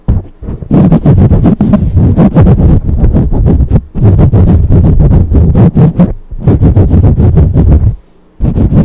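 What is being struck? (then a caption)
Foam microphone windscreen. Long pink acrylic nail tips tap rapidly down on the top of a black foam windscreen on a studio microphone. The result is a dense run of dull, deep, muffled thumps with almost no brightness, broken by short pauses and a near-silent gap just before the tapping resumes at the end.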